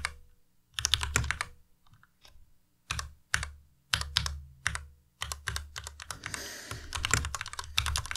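Fingertips type on a white Ducky Miya Pro tenkeyless mechanical keyboard with plastic keycaps. Bursts of quick, clacky keystrokes combine a low thock with bright, crisp clicks, separated by short pauses. Near the end the typing runs into a faster, continuous stream.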